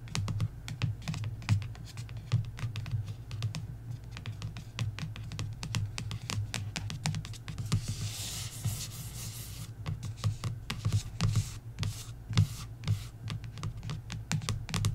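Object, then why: Glossy paperback book cover. Long nails tap and scratch the front cover of a glossy paperback coloring book. Rapid, dry clicking taps run throughout, with a bright, hissy scratching stretch around the middle, over a steady low hum.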